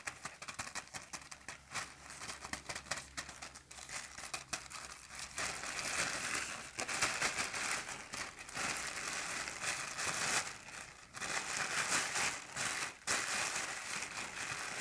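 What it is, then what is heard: Thin plastic garbage bag being crumpled. Hands crumple, rub and squeeze an empty, large, thin black plastic garbage bag, gathering the loose film into a bundle. The result is dense, irregular, bright crinkling and rustling with little low end, growing louder and fuller about halfway through, with brief dips between bursts of crackle.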